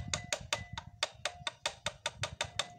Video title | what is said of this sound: Penyebab Bunyi Kasar pada Mesin Supra -- ini Solusi yang tepat!!! | diketok dari atas ni sangat nyaring artinya bagian stang seernya udah parah